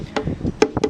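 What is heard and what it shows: A wooden violin body is tapped with a few quick, dry knocks during a plate tap-tone check while sanding. The taps ring briefly with a woody tone around 430 Hz. The tap tone stays consistent, indicating too much material has not been removed and the wood does not need rebalancing.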